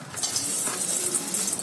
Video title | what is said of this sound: Chicken Tikka Biryani-Easy & Mouthwateringly delicious | keep them on a sieve like this and then you will hear how crispy they become